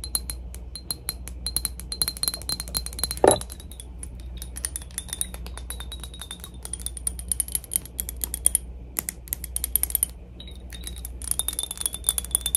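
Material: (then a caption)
Glass. A PacSun glass cologne bottle is tapped rapidly, making a steady stream of quick, bright clinks with short, high glassy rings. One firmer tap near the 3-second mark stands out above the rest, over a faint, steady low hum.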